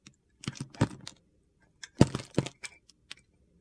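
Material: Soap.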